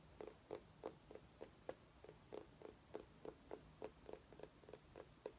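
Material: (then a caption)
Pumpkin rind. A small orange mini pumpkin, held by its base, is tapped and scratched with long nails. Fourteen quiet, hollow, mid-pitched taps come in a quick, uneven rhythm, each dying away almost at once, with faint bright scratchy edges between them.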